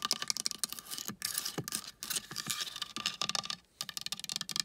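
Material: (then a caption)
Painted wood. A large, flat wooden board painted with dolphins and a palm tree is tapped and scratched with long painted nails and fingertips. The result is a rapid run of crisp, bright clicks and scratchy strokes, each one dying away almost at once, with brief pauses between bursts.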